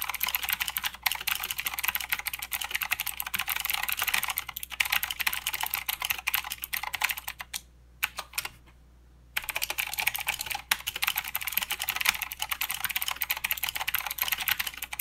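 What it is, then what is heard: Plastic mechanical keyboard. Both hands type with their fingertips on a full-size mechanical keyboard with plastic keycaps and blue clicky switches, making a fast, steady stream of bright, sharp clicks. The typing stops briefly for about a second and a half near the middle, then resumes at the same rapid pace until the end.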